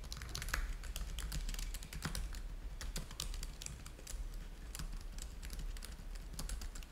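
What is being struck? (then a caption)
Plastic laptop keyboard. Fingertips type steadily on the keys of a black plastic laptop keyboard. Quick, bright clicks and taps run in an uneven stream over a steady low hum.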